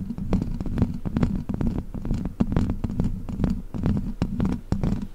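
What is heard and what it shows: Long black plastic witch-finger claws scratch across the hollow metal mesh grille of a large silver microphone. The result is a dense, irregular run of quick scratching strokes with sharp, brief clicks over a low, rumbling throb. There is no ringing after each stroke.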